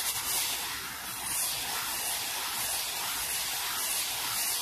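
A black-bristled brush is swept fast back and forth over a small solid wooden board resting on a towel. It makes a steady, bright, hissy scratching that runs continuously with almost no low end. The rapid strokes blur into one dense rustle.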